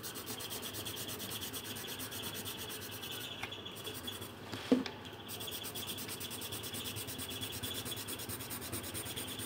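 A pink pencil is rubbed over a thin paper colouring sheet on a table in continuous colouring strokes. It makes a steady, dry, scratchy rasp with a bright, rhythmic hiss. Around the middle, the brighter texture briefly drops away and a single sharp tick sounds before the strokes resume.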